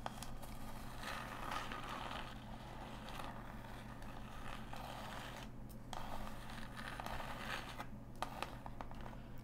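A small, hollow, closed brown cardboard mailer box is held in the hands and tapped and scratched with long nails. The result is a quiet, continuous papery scratching and scraping with soft, short taps scattered through it. A steady low hum runs underneath.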